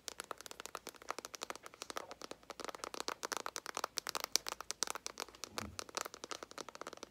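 A small, flat, hollow cardboard eyeshadow palette with a green and gold "NUDE" print is held in both hands and tapped rapidly with long nails and fingertips. The result is a steady stream of dozens of quiet, dry, bright clicks and crinkly taps with almost no low end and no ring after each tap.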